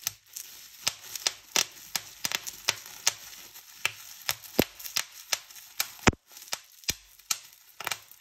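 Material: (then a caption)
Plastic. Fingertips and nails press along a strip of clear plastic bubble wrap, popping the bubbles one by one. About twenty-three sharp, bright snaps come at an uneven pace, each dying away almost instantly, with soft crinkly rustling of the plastic between pops.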